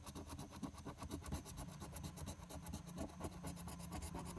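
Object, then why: Paper scratch-off lottery ticket scraped with a coin. A large coin scratches the latex coating off the Game 1 area of a flat paper lottery scratch-off ticket held down by one hand. The result is a steady series of dry, rasping strokes, loosely rhythmic at about 86 per minute, with a heavy low rumble underneath and brief bright scrapes on top.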